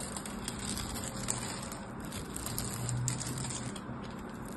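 A solid purple bar of soap, held in the fingers, has its scored surface carved with a craft knife so that it crumbles away in small cubes. A steady, dense crackling and crunching runs throughout, with a low rumbling body and bright, fine crumbles scattered on top.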